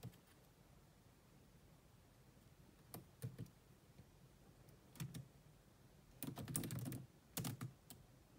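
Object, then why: Plastic laptop keyboard. Long manicured nails and fingertips tap the dark plastic chiclet keys of a grey laptop with a hollow body. Short, dry clicks come in scattered bursts with quiet pauses between them. Each click has a low hollow thud under a bright tick.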